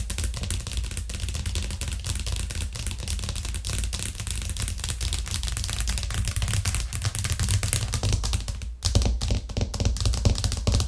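Long nails tap fast and aggressively on a thin, solid white plastic cutting board with a green rim, lying flat on a cork coaster. A dense, continuous stream of quick, dry clicks rides over a low, hollow thump, each tap dying away almost at once. After a brief dip near the end, the tapping returns slightly louder and more forceful.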